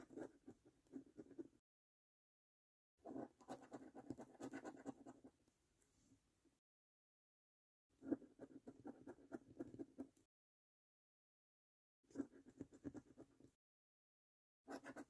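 A coin held in the fingertips scratches the latex coating off the number row of a thin, flat, printed cardboard National Lottery "Bank The Cash" scratch card lying on a table. Five bursts of quick, dry, rasping scrapes come in short rapid strokes, separated by stretches of silence.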